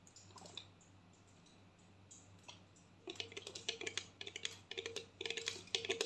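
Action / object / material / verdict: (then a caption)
tap / plastic mouthwash bottle, partly filled / plastic / none. A medium clear plastic mouthwash bottle with a label, partly filled with blue liquid, is held horizontally and tapped with long nails. After a quiet stretch with only a few faint taps, a quick, uneven run of bright, crisp clicking taps starts about halfway through, each dying away almost at once, over a steady low hum.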